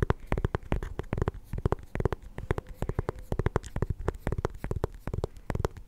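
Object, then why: Small pumpkin rind. Fingernails tap and scratch the ribbed rind of a small, solid orange mini pumpkin held up close to a microphone. Rapid, dry, hollow-sounding taps fall in quick uneven bursts, mixed with soft scraping. The sound is heavy in the low end and each tap dies out almost at once.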